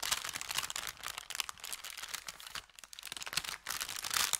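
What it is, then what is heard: Thin kraft paper bag being crinkled. An empty, thin brown kraft paper bakery bag with red print, flattened on felt, is held at both ends and crinkled and twisted by hand. Dense, bright crackling and crinkling fill the clip with almost no low end, briefly thinning out about two-thirds of the way through before picking back up.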